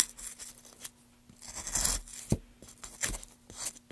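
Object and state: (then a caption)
Wooden plank being carved. A gouge held in a gloved hand scrapes long shavings off the surface of a solid, light wooden plank. Bright, rasping strokes swell and fade between quiet pauses, punctuated by a few short, sharp clicks that die away almost instantly.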